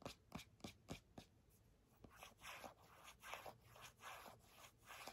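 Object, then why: Plastic squeeze tube of hand cream. Long fingernails tap and scratch a small, full, purple printed plastic squeeze tube of hand cream held upright. A quick run of sharp, dry taps comes first, followed by softer, brighter scratching strokes that swell and fade in an uneven rhythm. The sound is quiet and close.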